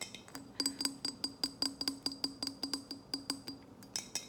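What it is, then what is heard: Glass mason jar tapped. A large glass mason jar is tapped at different spots, and each spot gives a different sound. About 22 quick, bright clinks sound in an uneven rhythm, each with a faint low ring around 270 Hz that fades fast. The last few taps near the end are higher and sharper.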